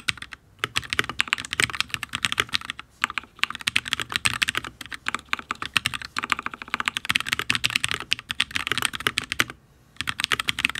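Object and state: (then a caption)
Mechanical keyboard with ABS keycaps on a steel plate. Fingertips of both hands type steadily on a full-size HyperX Alloy Origins RGB mechanical keyboard with Fire switches and ABS keycaps on a solid steel plate. The repeated taps make a rapid stream of short, bright, clacky keystrokes that die away almost instantly. Typing briefly pauses near the end, then resumes.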